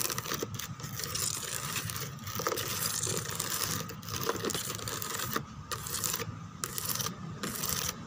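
Long teal nails rub and scratch across the back of a white molded plastic chair embossed with roses and lattice. The result is a steady, dense, bright scratching and rasping texture with brief dips in level.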